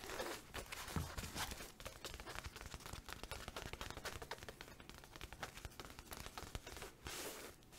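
A flat green and pink checkered fabric makeup pouch with a zipper and a green tassel, soft and apparently empty or lightly filled, is held in the hands and tapped and scratched with long acrylic nails. Fast, dense taps and scratchy rustles run continuously with bright crackle and a soft low thump beneath.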